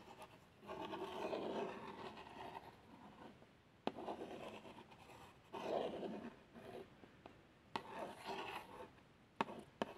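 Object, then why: Small cardboard plaster box. A long fingernail traces around the printed x100 badge on a small, hollow cardboard box of plasters. Soft, dry rubbing and scratching strokes come in slow waves, broken by a few sharp ticks as the nail catches the card.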